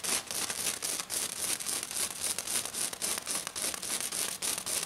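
A hand with black nails rapidly scratches and taps a flat, silver, glitter-covered sheet. It makes a dense run of bright, crackling bursts that repeat quickly and fairly unevenly, with almost no low end.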